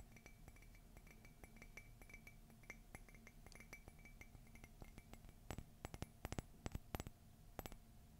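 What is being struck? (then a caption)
Ceramic coffee mug. Long fingernails tap rapidly on the outer wall of a hollow, empty white glossy ceramic Mickey and Minnie Christmas mug as it is held and tilted. The quick, light clicks carry a faint bright ring over a steady low hum. A handful of sharper, louder taps come near the end.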